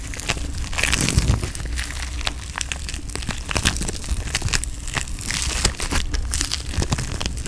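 Pink foam bead putty is pressed and rubbed with the thumb and fingertips in close-up. It gives a dense stream of crisp crackling and crunching pops over a steady low rumble.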